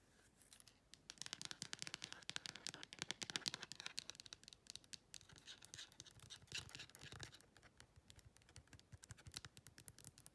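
Long red acrylic nails tap and click quickly on the raised clear edges and corners of a phone-sized clear plastic case with a printed insert, held at an angle. Dense, bright, dry clicks with almost no ring come in rapid bursts, with some scratchy texture mixed in.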